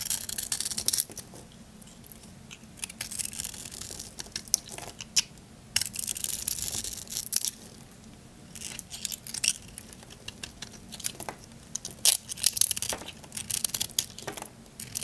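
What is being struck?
Bar of soap.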